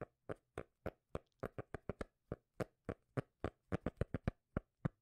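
A cork lid is tapped with the fingers, giving 22 soft, dull, bass-heavy thuds in an uneven rhythm, some spaced apart and others in quick clusters. Each tap is short and dies away almost at once, with no ring.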